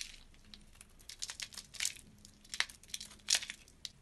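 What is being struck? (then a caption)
Bar of soap scraped with a blade. A metal box-cutter blade scrapes and carves thin curls off a solid, palm-sized oval bar of blue soap held in the hand. The result is a series of short, dry, crinkly scraping strokes that are bright and high-pitched, with a few sharper, louder cuts standing out against a quiet background.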